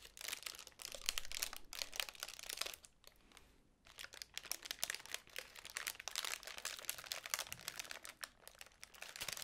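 Long pink nails scratch and fiddle with the folds of a small, hollow magenta tissue paper honeycomb ball with white card ends. The result is dense, bright crinkling and crackling made of rapid papery ticks, with a brief quieter lull just past the three-second mark before the scratching resumes.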